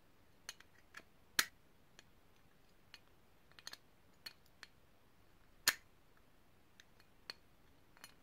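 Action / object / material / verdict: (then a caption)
tap / small brass cylindrical grinder / brass / none. Long painted nails tap and click around the ridged metal sides of a small, hollow, multi-part polished brass cylindrical grinder held in both hands. Sparse, bright, sharp clicks with a quick metallic tick die away almost at once, with two noticeably louder taps among the softer ones over a quiet background.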